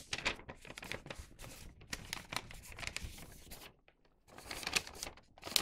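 A thin printed newspaper paper bag tube is folded at its bottom edge while fingertips press and rub the folds. Bright, dry crinkles and rustles come in dense bursts, with a short near-silent pause before the crinkling resumes.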